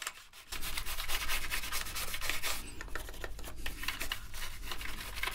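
A toothbrush held in gloved hands scrubs the keycap tops and the gaps between keys on a black plastic gaming keyboard. After a brief quiet start, a steady, rough bristle-rubbing sound begins, with a bright, hissy scratch over a low rumble. It rises and falls in short strokes to the end.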